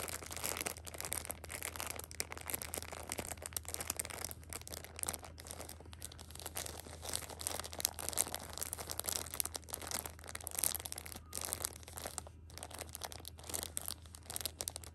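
A flat hand with long pink nails rubs and scratches the plastic wrap of a six-pack of pocket tissues lying flat. The result is a continuous, bright, dense crinkling and scratching with many quick, dry crackles over a steady low hum.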